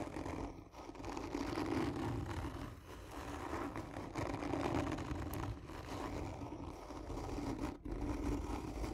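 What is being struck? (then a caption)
Cardboard tube. Long natural nails slowly and firmly scratch along the body of a hollow, black textured cardboard gift tube lying on its side with its end cap toward the camera. The result is a continuous, rough rasping scrape with a low rumbling body and a hollow tone around 280 Hz, rising and falling in long strokes with brief dips between them.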